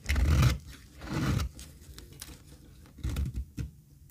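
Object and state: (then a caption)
Dry soap bar being shaved. A flat, solid, pale beige bar of dry soap, held in one hand over a pile of soap shavings, is shaved and scraped with a small metal utility blade, curling off thin flakes. Rapid, repeated strokes make dry, crunchy scraping bursts with a heavy low thud and faint bright edges, separated by quieter rasping gaps.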